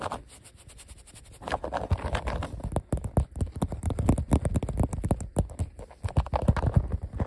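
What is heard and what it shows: A fingertip and nail tap and scratch along the letter outlines on a flat, thin, solid sheet of blue glossy vinyl die-cut letter stickers. After a quiet, faint scratching start, a quick run of short, dull, low-heavy taps and scrapes follows, each dying away almost at once.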